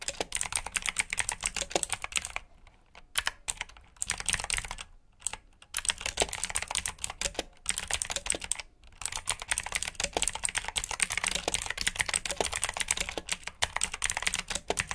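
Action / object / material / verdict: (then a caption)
tap / plastic mechanical keyboard / plastic / none. Fingertips with short nails type quickly on a full-size black plastic mechanical keyboard with RGB backlit keycaps, clicky blue switches and hollow key housings. The result is a dense run of sharp, bright clicks with a hollow plastic clack, broken by a few brief pauses.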